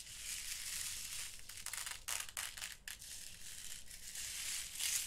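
Fingertips rake and stir through a small, open, clear plastic box filled with loose small glass seed beads in purple, blue and clear. The result is a continuous, crunchy, bright rattling hiss that swells and dips as the beads shift, with little low end.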